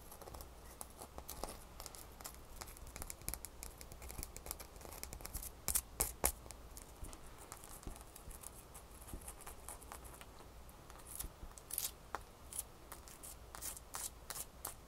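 A single small solid ice cube is held between the fingers and scratched and tapped with long fingernails. Quick, bright clicks and soft scratching come in irregular bursts, with the loudest taps near the middle, over a quiet, steady low hum.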